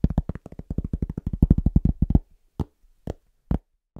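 A round, flat, solid cork board about 25 cm across is held in both hands, moved around the microphone, and tapped with the fingertips. A fast, uneven run of dull, low, short thuds with no ring fills the first two seconds, followed by four slower, spaced taps.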